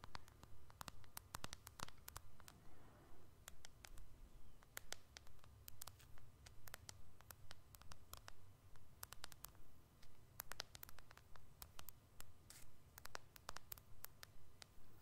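Fingernails tap on the dark glass screen and body of a small, solid white iPhone-style smartphone held in one hand close to the microphone. Quiet, crisp, bright clicks come in a steady, fairly regular rhythm of about two per second. A low rumble and soft hiss sit beneath them.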